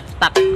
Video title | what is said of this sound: CARA ATTA PANJAT POHON | kalau ini belum tua ya, bro. Tuh. Suaranya masih ada stak-stak.